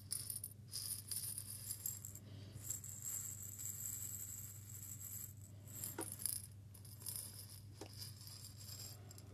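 A small clear glass jar holding small grains is tilted and shaken in the hands, then raised up in one hand. Loose grains rattle and hiss brightly against the glass walls in a steady, quiet stream with a few sharper clicks, over a constant low hum.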